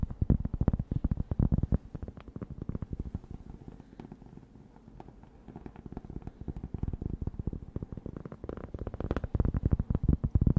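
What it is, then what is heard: Cork board. A flat, thin, solid rectangular cork board is held up and tapped and scratched with long dark-painted nails. The result is a dense run of short, dull, low taps mixed with scratching, louder at the start and end and softer in the middle.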